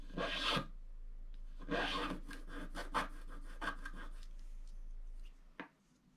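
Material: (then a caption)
Wax coating. A wooden stylus scratches the roof area of a black wax-coated scratch art card lying flat and held by one hand. Irregular dry, raspy scraping strokes sound bright and gritty, some longer and some short, over a steady low hum that fades out near the end before one last short scratch.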